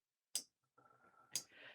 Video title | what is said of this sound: Unbox the Fold with Me - Dreaming Robots' New E-Spinner & My Thoughts | I kind of just want to tap it just to hear that little metal tap.